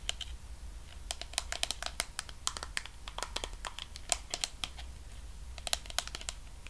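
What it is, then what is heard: Plastic cosmetic jar. Fingertips and nails tap and scratch along the sides and white screw lid of a medium pink plastic Sol de Janeiro body cream jar with a wrapped label, held in one hand and likely full. The result is a fast, irregular run of short, dry, bright clicks and crinkly scratches with almost no ring, over a faint steady low hum.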